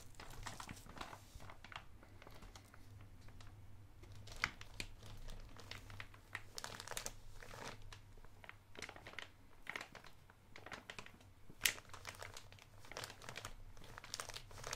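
A thumb scratches and crinkles the plastic front of a blue soft plastic Electronic Wipes pouch with wipes inside. The result is a steady, quiet run of bright crinkling and scratching with scattered sharper crackles. A constant low hum sits underneath.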